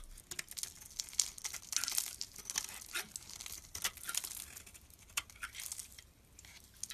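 A metal blade shaves flakes off a solid pale lilac bar of soap with faceted carved edges, held in the hand. The result is a series of dry, crisp, bright scraping and crackling bursts with almost no low end. Each stroke stops short with no ring.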